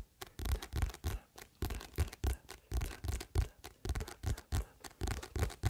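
A paperback book with a glossy paper cover, held in both hands just behind the microphone, is tapped and scratched on its cover with the fingertips. The result is a quick, uneven string of short bursts: deep, dull thumps mixed with papery scratching and brushing. Each burst stops quickly, with little ring.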